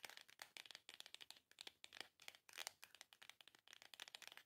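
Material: Cardboard.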